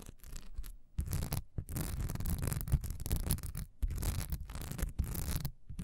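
Long nails scratch fast across a solid cream wax pillar candle with a honeycomb, diamond-textured surface, standing upright. The result is dense, rapid scratchy rubbing with a dull, low-heavy body, coming in bursts broken by a few brief pauses.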